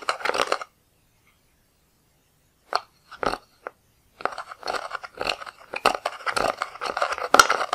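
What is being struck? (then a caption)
Pressed powder eyeshadow in a plastic palette. A wooden-handled, metal-tipped tool scrapes and crumbles green pressed powder eyeshadow out of the pans of a black plastic palette. A short burst of dry, gritty crunching gives way to about two seconds of silence, then a few brief scrapes. Dense, continuous crumbly scraping follows to the end, sitting in the mid and upper range with no low end.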